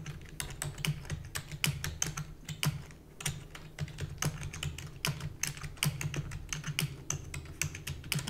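Rapid typing on a full-size black plastic keyboard with hollow keys, tapped with long natural nails and fingertips. Quick, bright, clicky taps run in uneven bursts over a steady low hum, each tap dying away almost at once.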